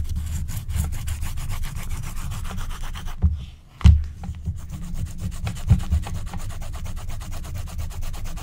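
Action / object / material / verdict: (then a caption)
scrape / wax-coated paper scratch-art card / wax, paper / none. A wooden stylus scratches the black wax coating of a flat, thin scratch-art card along its edges while a hand with long nails steadies the sheet. Rapid, steady scratching strokes give a dense, low, rubbing texture, broken by a short quiet gap just past three seconds and a sharp louder scrape right after before the scratching resumes.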